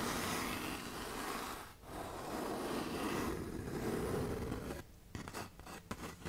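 Long nails scrape along the gritty side of a tan K120 (120-grit) sandpaper sheet bent into a curve, making a steady, coarse rasping with a brief pause near two seconds. The scraping then breaks into quieter, shorter scratches toward the end.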